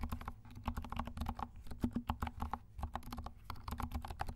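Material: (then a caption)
Plastic. Fingertips of both hands type steadily on a compact 68-key mechanical keyboard with dark plastic keycaps and silent switches. The keystrokes come as a rapid, uneven run of soft, muted taps with a dull low-heavy thud and very little brightness. Each tap dies away almost instantly.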